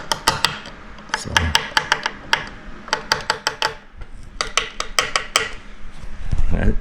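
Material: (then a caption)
Wood. A rustic wooden gate door for an employee area is tapped during assembly to check for vibration. Bursts of sharp, dry knocks with very short ring sound out over a low background rumble, and the door sounds solid.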